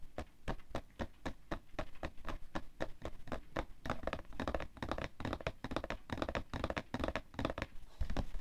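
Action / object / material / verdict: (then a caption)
tap / cardboard tissue box / cardboard / none. Fingertips and nails tap and scratch the side of a printed cardboard tissue box, hollow and full of tissues, resting on white fur. A rapid string of dull, low, hollow thuds dies out almost instantly, with faint scratchy brushing between them. The taps grow denser and busier toward the end.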